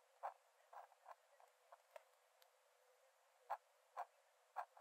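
A metal nib in a wooden dip-pen holder scratches short strokes onto the cream paper page of an open sketchbook lying flat on a dark desk while drawing. Quiet, dry, midrange scratches come in an uneven series with brief pauses, each stopping almost at once with no low end.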